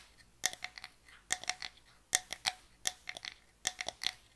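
Long nails tap rapidly on a small, closed, hollow box of light pine wood as it is turned in the hands. The taps come in quick clustered bursts of bright, dry clicks with almost no ring and very little low end, pitched around 1.9 kHz.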